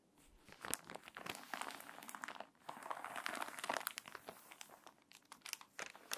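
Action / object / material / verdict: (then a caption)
scrape / paper magazine pages / paper / none. Long nails scratch and rub across the crinkly open spread of a wavy, water-damaged paper magazine. The result is dense, dry crinkling and scraping with many sharp, bright ticks. It stays soft overall, with a brief lull partway through before the rustling picks back up.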